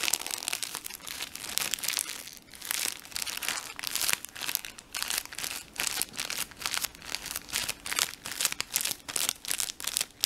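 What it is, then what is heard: Plastic tissue pack wrapper. The small, soft, mostly empty blue plastic wrapper of a Tempo tissue pack is crinkled, squeezed and stretched with the fingertips. It makes a steady run of bright, crackly crinkling bursts with almost no low end. Each crackle stops short with no ring.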